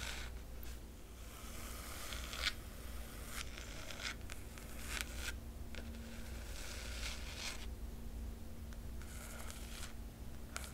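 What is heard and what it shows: Long nails scratch the black cloth cover of a large hardcover book and trace its silver foil emblem. Soft, dry rasping strokes come in repeated bright scratchy bursts over a steady low hum. The clip stays quiet throughout.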